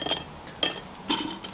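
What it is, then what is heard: Crispy cooked chips. Crispy steak-house potato chips cooked in a Ninja Foodi are tipped onto a plate, and they land in a few short, bright clinks with a quick rattle. The chips sound perfectly crisp as they hit the plate.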